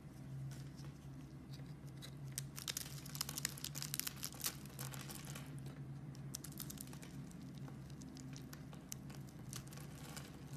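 A solid pink soap bar with a carved wavy surface is scraped with a metal blade that lifts off flakes. It makes a quiet, steady run of crisp, bright crackles and short scratchy bursts over a constant low hum.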